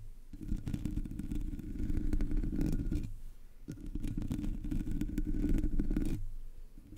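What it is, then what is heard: Metal mesh microphone grille being scratched. Fingertips and long nails of both hands scratch the top of a Blue Yeti microphone's black hollow metal mesh grille. Two bouts of dense, rumbling scratching, each about two and a half seconds long, are heavy in low frequencies. A brief quieter pause separates them.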